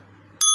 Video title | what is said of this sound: Ulama Yang Sesat Menyesatkan | bunyinya Ting Ya jelas ya